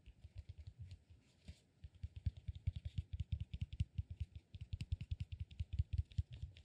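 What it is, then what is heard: Cork massage ball tapped with fingernails. A solid peanut-shaped cork massage ball held in both hands, with fingernails scratching and tapping its textured surface. Quick, dry, low-pitched taps come in a steady patter with soft scratching between them. There is a short pause near the start.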